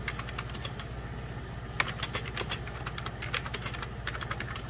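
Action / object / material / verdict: tap / plastic computer keyboard / plastic / none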